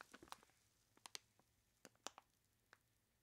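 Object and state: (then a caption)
Plastic bag of ice cubes. Hands in blue nitrile gloves squeeze and rub a large clear plastic bag full of ice cubes, making crinkling plastic and shifting ice. About eight sharp, bright crackles and clicks come at uneven intervals over soft rustling. Each one dies away almost instantly into quiet.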